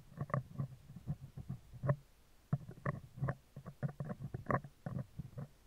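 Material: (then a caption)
Steel mesh. Metal tweezer tips scratch and tap the hollow, round steel wire-mesh grille of a handheld microphone on a stand. Close up, this produces a quick, irregular run of soft, muffled taps and brief scratches. The sound is mostly low, with a hollow thump around 145 Hz that dies away almost instantly, and short quiet gaps between clusters of taps.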